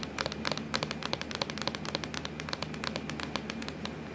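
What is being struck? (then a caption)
Plastic laptop lid. Long acrylic nails tap quickly on a hollow, black textured plastic laptop lid. The result is a steady stream of short, bright, clicky taps with a hollow knock, each dying away almost at once over a low background hum.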